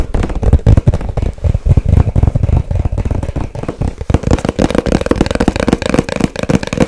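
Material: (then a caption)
Cardboard. A small, hollow white cardboard product box is tapped fast on its sides and corners with long white nails. The result is a dense stream of quick, dry, hollow taps with a low, boomy thud and no ring. The taps are heavier and deeper in the first half and turn lighter and more papery later on.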